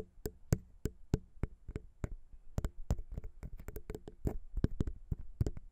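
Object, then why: Metal microphone capsules on a plastic mount. Long pink nails tap rhythmically on the small chrome metal XY microphone capsules of a Zoom H6 recorder, which sit on a plastic XY mount. The short, dry clicking taps have a low thump and almost no ring. They start evenly spaced and quicken into a denser, faster patter.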